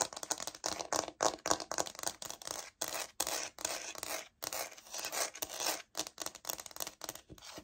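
Long nails scratch and tap the textured face of a light oak laminate floor plank sample held in the hands. The result is dry, bright scratching bursts mixed with short, quick taps in an irregular rhythm, with almost no low end and no ring after each stroke.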